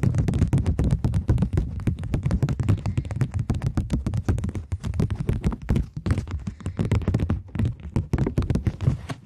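A thin, flexible plastic Bank of England polymer £20 banknote is held between both hands, then bent and snapped taut with fingertips and long nails. The result is a rapid, dense run of soft, dull taps and crinkly snaps with almost no ring, weighted heavily toward low tones and continuing steadily throughout.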